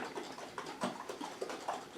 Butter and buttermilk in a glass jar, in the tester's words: now it's getting really sloshy in there